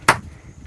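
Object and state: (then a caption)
Ordinary rock with a plain, dull stone sound. A stone is struck twice, each hit a short, dry knock centered around 1.4 kHz with a quick decay. It gives an ordinary stone sound with no ringing, unlike a nearby rock that rings like a bell.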